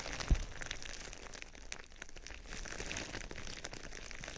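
Fingertips scratch and rub clear plastic bubble wrap wrapped around a binaural microphone, producing a steady, dense crinkling and rustling with bright, crackly detail. A short, louder low thump comes near the start, then the scratching continues at an even level.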